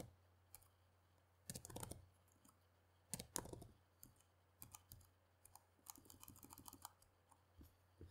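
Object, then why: Plastic laptop keyboard. Both hands type steadily with their fingertips on the keys of a black plastic laptop keyboard. Quiet, dry, bright clicks come in short irregular bursts and clusters with brief pauses, over a faint steady low hum.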